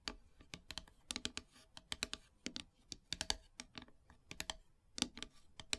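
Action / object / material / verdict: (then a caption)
tap / painted wooden heart plaque / wood / none. Long silver nails tap and scratch across a flat, solid, black painted wooden heart plaque. The result is a rapid, uneven run of sharp, bright clicks that die away almost instantly, with faint scratchy rasps between them.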